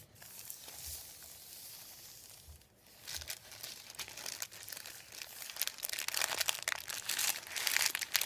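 Fingers press, lift and crinkle a thin sheet of printed white paper on a wooden table. A soft, airy rustle in the first few seconds gives way to dense, bright crackling that grows steadily louder toward the end.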